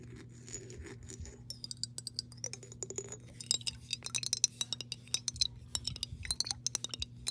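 Long pink acrylic nails tap and scratch the side of a clear, hollow glass mason jar partly filled with water, held in hand and tilted. Rapid, bright, high-pitched clicks and clinks come in quick irregular bursts, each dying away almost instantly, with soft scratchy rustles between them over a faint steady low hum.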